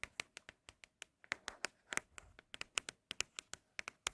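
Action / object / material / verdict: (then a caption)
tap / cardboard product box / cardboard / empty. Fingertips tap irregularly on empty Apple product cardboard boxes, making about two dozen quick, quiet, dry taps. Each tap is bright and clicky, with a hollow ring near 2.8 kHz and almost no low end. The taps are considered especially good-sounding.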